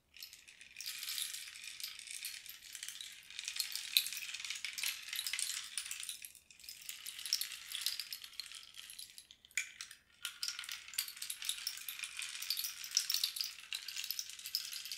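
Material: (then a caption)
Cactus wood. A long, hollow cactus-wood rain stick is held in both hands and tilted so its loose filling cascades inside, while one hand passes near idle singing bowls. It makes a continuous, bright, high rattling hiss with almost no low end, dipping briefly around 6.5 and 10 seconds as the stick is turned before the cascade resumes.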